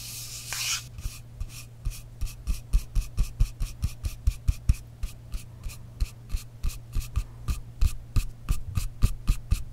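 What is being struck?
Frosted glass spray bottle with metal cap.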